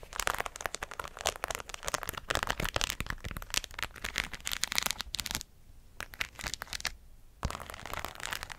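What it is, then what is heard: Bedazzled hat scratched with nails. A hollow white fabric cap, held in the hand and fully covered in rows of plastic pearls and rhinestones, is scratched with long acrylic nails. The result is dense, bright crackling and clicking with dry, instant decays. The scratching quiets to a few sparse clicks for about two seconds, with one sharp tap, before the busy scratching resumes.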